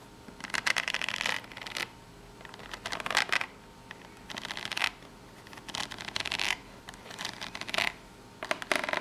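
Long natural nails scratch across the ridges of a small corrugated cardboard box in bright, raspy bursts separated by short quiet pauses, with the box briefly turned once partway through.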